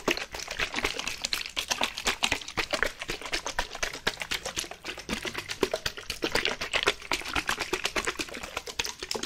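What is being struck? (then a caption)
Plastic bottle with water. A white plastic bottle, partly filled with water, is shaken and tapped with nails. Quick, uneven, bright clicking taps come in a dense stream with short, dry decays and little low end, while the water shifts inside.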